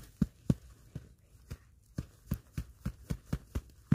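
Knit-gloved hands pat and rub a large, solid ball of packed snow held against the lap. About a dozen soft, low, dull thumps come at an uneven pace, each one short and muffled with a faint crunchy brush between them.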